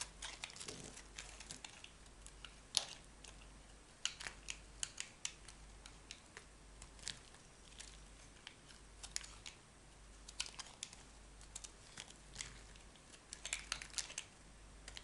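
A solid yellow bar of soap is held in the hand while a metal knife blade shaves and carves slices from it. The result is a run of quiet, bright, crisp scraping and cutting clicks, with short sharp ticks spread unevenly over a soft, faint low hum.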